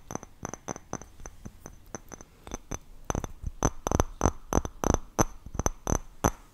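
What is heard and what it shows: A glass object is tapped quickly with about two dozen short, sharp taps in an uneven rhythm, each with a bright ringing tone that dies away almost instantly.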